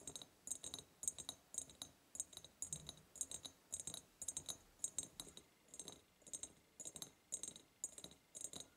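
Long purple nails tap the upper sides of a large, hollow, ribbed clear glass jar in quick rhythmic bursts. Each tap is a sharp, bright glassy click with a high, thin ring that dies away almost at once, and there is very little low end. The clusters of taps repeat steadily throughout.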